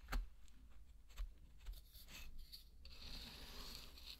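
A flat wooden spatula pushes and stirs through a large loose bed of dry pearl barley grains, making soft, gritty scraping and rubbing sounds over a low background hum. A few sharper scratches stand out early on, then the grains settle into a steadier, brighter rustling hiss for the last second and a half.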